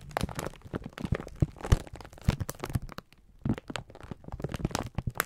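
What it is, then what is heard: Plastic-wrapped pack of sponge scourers. A full pack of sponge scourers in clear plastic film is squeezed and rubbed with the fingertips of both hands. It makes dense, irregular crinkling and crunching, with soft low thumps and short dry cracks. The sound pauses briefly just after three seconds, then resumes.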